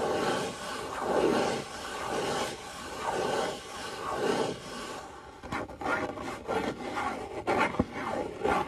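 Fingertips rub and scratch the face of a small, hollow brown cardboard box held in the hand, with a few light taps. Slow, steady swells of soft papery rubbing come about once a second at first. They give way to choppier, drier scratching broken by short, sharp taps.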